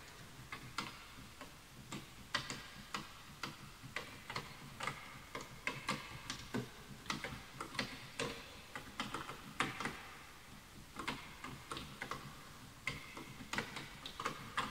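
Both hands type with their fingertips on a full-size bamboo wood computer keyboard with wooden keys, while the mouse is left untouched. About 35 dry, crisp keystrokes tick out at an uneven pace. Each is a short, woody click with a hollow tone near 1.2 kHz and a bright top that dies away almost at once over a quiet background.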